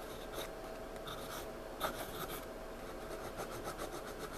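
A pencil shades and scribbles across a page of a spiral-bound paper sketchpad lying flat, scratching and rubbing lead on the paper. A steady, soft, bright scratchy rasp runs throughout, with short louder strokes and one sharper scrape near the middle.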